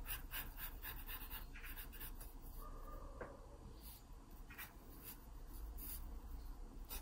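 A wooden pencil scratches shading strokes across a page of an open paper sketchbook. The quiet, uneven, repeated scratchy strokes come in brief bright bursts over a steady low rumble.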